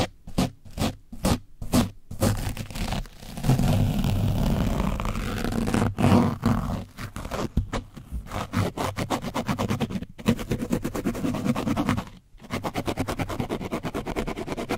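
A foam brush on a wooden stick is scrubbed over an orange foam microphone windscreen covered in dried paint. It makes low, rough, heavy scraping that starts as short, separate strokes, swells into long continuous scrubbing, and then shifts to fast, uneven back-and-forth rubbing. The sound is muffled and bass-heavy, with little high-end brightness.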